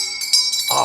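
A properly hardened steel magazine clip for a French RSC 17 is dropped on the ground and gives a bright, clear ringing clink with a sustained metallic shimmer. This is the sound it should make when correctly hardened.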